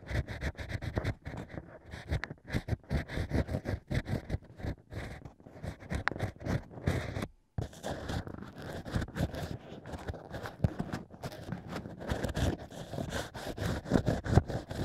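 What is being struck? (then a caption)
Natural wine cork scraped by a bamboo pick. A bamboo ear pick scrapes in and out of the drilled hole in a stack of natural cork wine corks. It makes dense, rapid, muffled scratching and rubbing strokes with a low, thumpy body, broken by a brief silence around seven and a half seconds.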